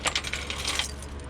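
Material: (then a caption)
Steel. A metal spring taken from a scrap part is handled and checked, giving a quick series of bright, light metallic clinks and jangles that ring only briefly over a faint steady low hum. The spring turns out to be steel, a ferrous metal, not aluminum as first guessed.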